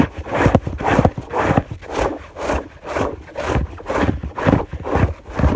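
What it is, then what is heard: Fabric bed sheet. Both hands rapidly scratch a white fabric sheet on a bed with long nails, producing about ten rhythmic, dry scraping strokes at roughly two per second. Each pass is a soft, broadband rasp with a low thump underneath and little high-end sparkle, fading quickly between strokes.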